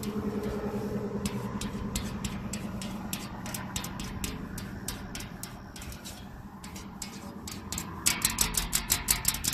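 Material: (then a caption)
Sheet metal. Long acrylic nails tap and scratch a thin, flat painted metal sign panel with black lettering, mounted outdoors. Sharp, bright clicks land about twice a second over a steady low background rumble. In the last second and a half, the taps turn louder and quicker, with a brief metallic ring.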